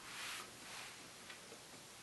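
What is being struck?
Nothing is struck.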